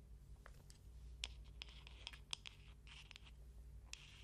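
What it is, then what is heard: Bamboo hairbrush with wooden pins. Long painted nails scratch and rake the wooden bristle pins of a small hand-held paddle hairbrush with a light bamboo or wood body, held close to the mic. Quiet, dry, bright scratching runs throughout, broken by sharp, irregular ticks and clicks as the nails flick across the pins. A steady low hum sits underneath.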